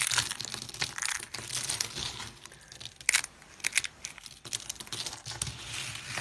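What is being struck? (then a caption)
Soap shavings. Thin, brittle pink dry soap shavings are crushed and rubbed between hands with purple nails over a pile of pink flakes. The result is a dense run of dry, bright crinkling and crunching, with sharp crackly bursts separated by brief softer moments and almost no low end.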